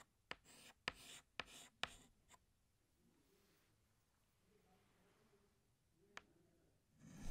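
A hand scratches a green chalk stick across a large, flat black chalkboard in long drawing strokes. Bright, rasping scrapes come in bursts, with five sharp clicks of the chalk striking the board. A faint, quiet stretch follows before a final scrape swells at the end.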